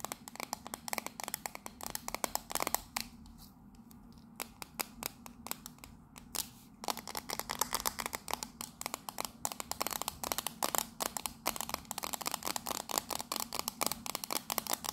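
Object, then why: Metal tea tin with lid. Long nails rapidly tap and scratch the embossed sides and lid of a hollow turquoise and purple patterned metal tea tin with a lid, held close. The sound is a dense run of bright, sharp clicks and scratchy scrapes with almost no ring, and a sparser, quieter stretch of taps in the middle.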